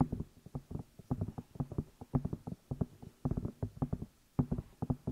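Fingertips and long nails tap and rub the outside of the two hollow rubber or silicone ear pieces on a black binaural microphone. Rapid, dull, low thumps come in quick irregular bursts, each dying away almost instantly with a faint scratchy rustle between them. Short quiet gaps separate the clusters of taps.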